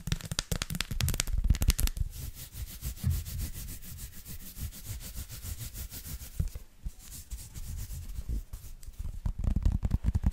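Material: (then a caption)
Chocolate. Long lilac nails and fingertips scratch and tap across the raised dots of a flat, solid, hand-sized dark chocolate bar, held flat and then upright. Bursts of rapid, clicky tapping at the start and end frame a quieter stretch of steady, low, rumbling scratching, with short dry ticks that stop almost instantly.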